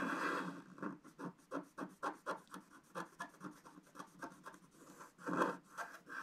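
A wooden stylus scratches through the coating of a flat black-coated scratch-art card. About sixteen short, dry scratching strokes follow an opening longer scrape, with a rasping tone centered in the mids and a bright edge. Another longer rub comes near the end, and the whole clip stays soft and close.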